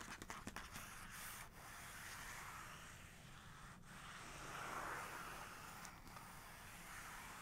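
Long nails and fingertips of both hands rub and scratch back and forth across the same large glossy photo page in an open hardcover photography book. A few quick, sharp nail ticks open the clip, then a steady, soft, papery hiss with bright scratchy texture continues, swelling slightly near the five-second mark before settling.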